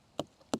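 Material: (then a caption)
Melon rind. Two quick thumps on a large, still-growing watermelon on the vine, tested by tapping. Each gives a short, dull thud with a low-mid tone around 266 Hz that dies away almost at once. The melon has not been picked, so its ripeness is not determined.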